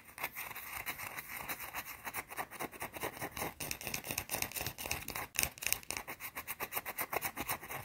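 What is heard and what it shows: Long blue-painted nails scratch fast over a small, solid, round white bar of soap held close. The result is a rapid run of short, dry, bright scraping strokes with little low end and no ring between them.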